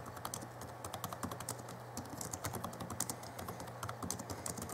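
Fingertips of both hands type continuously on the backlit plastic keys of a small 2011 Alienware M11x R2 laptop keyboard. A rapid, uneven stream of short, bright plastic clicks and taps runs over a steady low hum.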